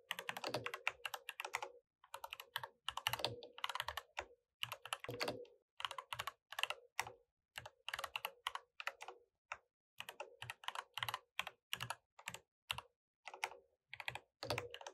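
Two hands tap the keys of a mechanical keyboard with plastic keycaps using their fingertips while typing. Quick, dry, clacky keystrokes come in bursts separated by brief pauses, with a bright top and very little low end.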